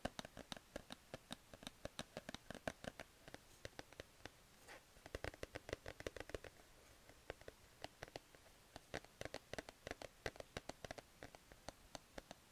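A grey plush cat sleep mask on a cardboard card is scratched and tapped with fingers and red nails. The result is a rapid, uneven run of short, dry taps and soft scratches with almost no ring, over a light fabric rustle.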